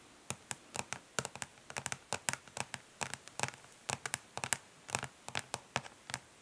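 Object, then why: Plastic makeup palette case. Long nails on both hands tap quickly across the underside of a flat plastic eyeshadow palette, a hollow case of dark translucent ridged plastic. Around thirty crisp, bright clicks come in an irregular, fast rhythm, each dying away almost instantly with a hollow plastic tick and little low end.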